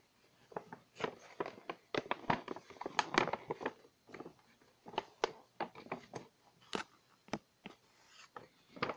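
Long painted nails tap and scratch across a medium, glossy pink paper gift bag with white twisted-paper handles, held up and hollow, apparently empty. About two dozen sharp, crisp taps come in uneven bursts with dry, crinkly papery scratches between them. Each sound cuts off almost instantly, with no ring.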